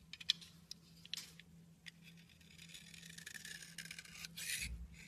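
A solid pink bar of soap held in the hand is carved and shaved with a metal utility knife blade. Sharp, bright scraping clicks come first, then a steadier run of dry scraping and rasping, with a low hum underneath.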